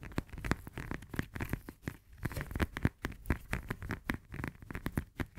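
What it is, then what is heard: Lemon tapped and scratched with nails. Long nails rapidly tap and scratch the peel of a whole, solid, fresh lemon held in both hands. The result is a fast, uneven run of short, dull, low taps mixed with soft scratchy crinkling. The clicks die away almost instantly.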